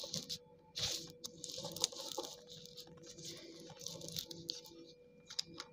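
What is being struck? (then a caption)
Slate pencil pieces. Soaked slate pencil chunks on a tiled floor are pounded again and again with a dark green cylindrical tool, crushing them into a crumbly, paste-like pile. The sound is a string of bright, wet crunches and squishy patters with short, sharp attacks and almost no low end.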